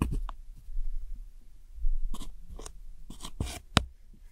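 A metal hook tool digs into and scrapes the brown pressed powder eyeshadow wedges in a round plastic palette. Soft, dull low scuffs are broken by short, bright scratchy crunches, the sharpest one near the end. The powder crumbles under the tool.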